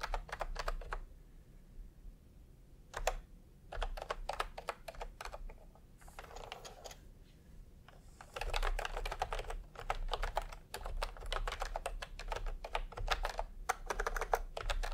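Fingertips tap on the keys of a full-size plastic typewriter-style computer keyboard with round retro keycaps in peach and cream, lying on a white cloth. Bursts of quick, crisp clicks come in uneven runs separated by brief pauses, each tap dying away almost instantly over a faint low hum.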